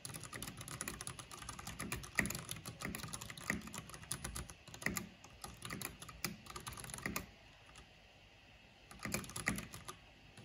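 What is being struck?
Plastic mechanical keyboard.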